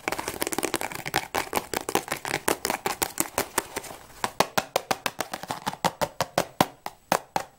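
A closed, hollow cardboard tea box, likely full of tea bags, is held in the hands and tapped fast and hard with long nails and fingertips. The result is a rapid stream of short, dry, crisp clicks and taps with bright edges and almost no ring. They come in a dense flurry at first, then space out into distinct, sharper knocks.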